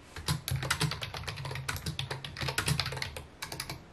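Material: Plastic.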